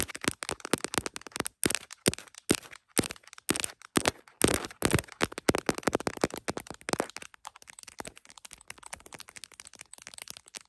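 Long acrylic nails tap rapidly on the back of an iPhone in a smiley plastic case mounted on a tripod, striking both the case and the camera lenses. Dense, dry, crisp clicks come in bursts with almost no ring, loud in the first half and growing softer and quicker toward the end.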